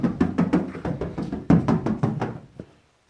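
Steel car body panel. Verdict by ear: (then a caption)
Solid. Knuckles rap fourteen times on the lower rear steel body panel of a barn-find car to check for body filler, producing dull, low, short knocks that die away quickly. The panel sounds like solid metal with no thick filler, perhaps just a little where a panel was replaced.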